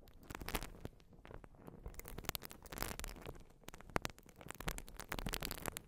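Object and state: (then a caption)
Urethane foam sponge. A white open-cell urethane foam sponge, held over the microphone, is scratched with long nails and squeezed. It makes a quiet, dense stream of crackly, scratchy bursts and soft squishes with a low rumbling undertone, and brighter rasps flare up throughout.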